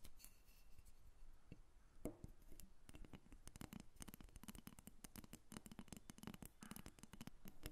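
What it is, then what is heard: Carved wooden dolphin figurine. A small, solid carved wooden dolphin figurine is held up and then set on a glass table, where long acrylic nails tap and scratch it. Quiet, rapid, dry clicks with a low woody body come in dense bursts, mixed with soft scraping, and each tap dies away almost at once.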